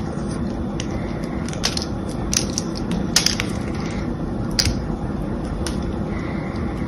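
A solid, palm-sized, cream-colored bar of soap is held in the hands while its pre-cut surface is crushed and broken off with the fingers and nails. A steady, dense low crumbling texture runs throughout, punctuated by sharp, bright crunchy crackles as pieces snap away.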